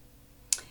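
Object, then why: Metal baby milk tin. A single knock on an old metal baby milk tin, a red and blue Cow and Gate tin from a museum collection, gives one short, bright, high-pitched tick. It stops almost at once with no ring, and there is faint quiet before and after.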